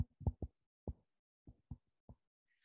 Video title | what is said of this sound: Spinning Yarns Speaker Series: Catherine Knutsson of the Small Bird Workshop | so that whooping sound is called a ping test and that is a sign that this is a very very strong fiber